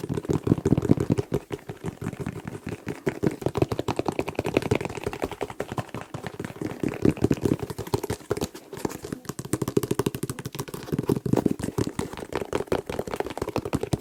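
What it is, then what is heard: Plastic hair gel container. A hair gel container is tapped very fast in a continuous flurry of soft, dull taps. The taps are short and damped, with their body in the low-mids around 270 Hz and little high content. The sound resembles soft tapping on a shoe.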